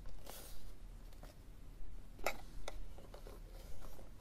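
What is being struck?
Plastic external CD drive casing.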